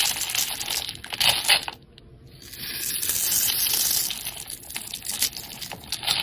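A utility knife blade scrapes and cuts along the surface and edge of a solid, palm-sized green rectangular bar of soap held in the hand. The result is bright, crisp scratching and shaving sounds with quick bursts of scraping. Near the two-second mark there is a brief quieter pause before a steadier scrape.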